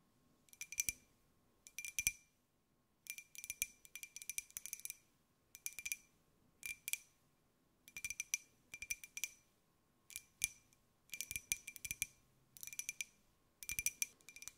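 A small, hollow, white glazed ceramic jar with a pineapple print is held in the hands and tapped with long nails. Quick, bright, clicky taps come in rapid bursts separated by short pauses, each tap carrying a faint glassy ring near 2.4 kHz that dies away almost at once. There is almost no low end.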